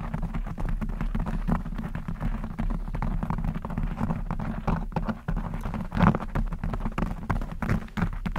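Long blue acrylic nails on both hands scratch a black textured knit fabric cover stretched over a rounded microphone head. The result is a dense, continuous, low, muffled rustling and scraping made of rapid, closely packed strokes, with a few slightly louder swipes standing out.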